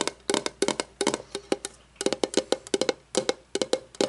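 Long painted nails tap and scratch the flat face of a shiny metal lid on a candle jar lying on its side. Around twenty quick, dry, bright clicks come in uneven bursts, each with a faint metallic tone near 395 Hz that dies almost at once.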